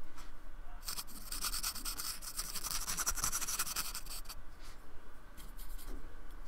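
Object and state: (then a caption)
Styrofoam block brushed. A fine paintbrush is brushed and scratched across the textured, beaded surface of a small, flat, solid square of painted white expanded polystyrene, held by fingertips on a wooden table. Dense, bright, scratchy bristle strokes build quickly and run steadily for about three and a half seconds. They then thin out into quieter, sparser brushing over a low, steady background hum.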